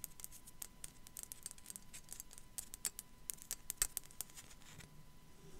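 Long black nails tap and scratch across the top of a small, hollow, white matte ceramic sugar skull figurine. Many quick, dry, bright clicks and scrapes sound over a low, quiet background rumble, with a few sharper taps standing out. Each hit dies away almost at once.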